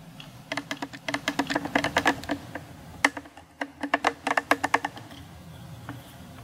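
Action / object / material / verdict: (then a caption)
tap / plastic camera zoom lens barrel / plastic / none. Fingertips and short nails tap and rub around the rim and rings of a hand-sized Sony kit zoom lens, a hollow cylinder with a black plastic barrel and a glass front element, held up close. Two bursts of quick, dry, clicky taps come through, each with a short bright tick over a faint hollow knock, separated by a softer stretch. The taps fade to quiet rubbing at the end.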